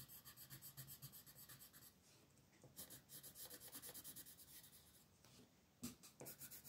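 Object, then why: Coloured pencil on a thin paper page. A purple colored pencil rubs and scratches across a thin paper mandala page lying flat in a coloring book, in quick shading strokes while the other hand, with long nails, holds the sheet. Bright, dry, scratchy rasps come in fast rhythmic runs, broken by a quieter lull and a sharper scrape near the end.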